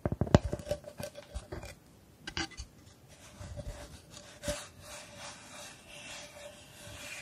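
Fingertips and long nails rub and scratch the surface of a flat, solid plywood star held upright close to the mic. A quick run of dry, rasping scratches comes first, with a faint steady tone around 600 Hz running underneath. It eases into softer, quieter rubbing strokes.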